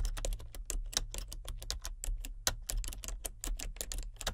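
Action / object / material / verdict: tap / plastic computer keyboard / plastic / none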